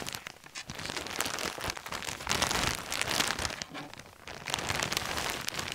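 Hands crinkle, press and rub a large, clear, thin plastic bag full of coloured fabric lanyards on a table. The result is a steady, bright crackling and rustling with irregular swells in loudness, dipping briefly around the middle before picking up again.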